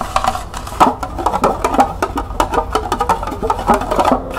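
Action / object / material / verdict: tap / small plastic cup with a ridged side / plastic / none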